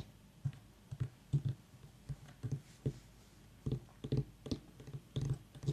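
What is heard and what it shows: Fingernails tap and scratch near the stem of a whole white ribbed mini pumpkin while the other hand holds it steady. The result is an irregular run of soft, dull, low-pitched thuds that die away quickly, with faint scratchy clicks between them.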